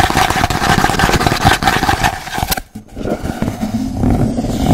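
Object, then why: Cardboard roll tube. A hollow, empty brown cardboard roll tube is held near the microphone and scratched fast with fingernails. It makes a dense, rough, crackly scraping with a hollow resonant tone. The scratching drops out briefly near the three-second mark, then resumes with a lower, fuller hollow sound.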